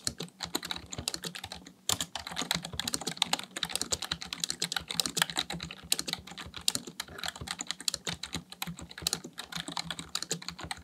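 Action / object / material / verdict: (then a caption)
tap / plastic computer keyboard / plastic / none. Fingertips type steadily on a full-size black plastic computer keyboard, producing a rapid stream of bright, dry clicking taps that stop short with no ring. The rhythm is dense and even, with a brief pause near two seconds, over a faint low hum.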